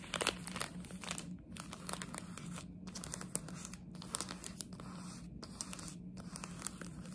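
A small plastic chocolate frog wrapper, held in both hands, is scratched and crinkled with long nails. The result is a steady, quiet stream of bright crackling and sharp tearing-like scratches with brief pauses, over a low constant hum.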